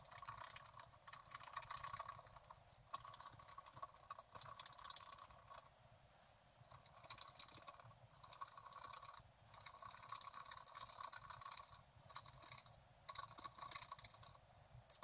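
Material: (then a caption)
Coated paper. A wooden stylus scratches roots and branches into a thin, flat sheet of scratch art paper. Quiet, dry, bright scratching comes in bursts of quick strokes separated by brief pauses.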